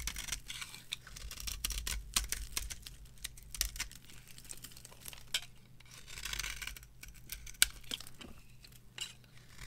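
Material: Soap.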